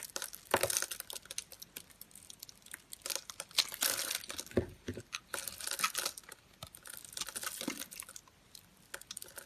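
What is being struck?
Bar of soap scraped with a metal blade.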